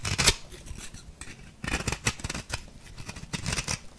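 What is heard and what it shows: A small metal blade scrapes across the cut surface of an orange-pink compressed-powder bath bomb. It makes a series of dry, gritty, crumbly rasps with bright hissy grain and a soft low thud under the stronger strokes. Quieter scratchy scraping fills the gaps between the louder bursts.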